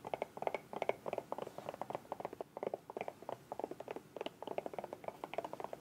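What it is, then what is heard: Soft plastic squeeze bottle. Long nails tap and scratch rapidly along the body of a small, hollow, bright green soft plastic squeeze bottle with a white cap. The result is a quick, uneven stream of dozens of short, dry clicks with a hollow plastic tone around 650 Hz, each one dying away almost at once.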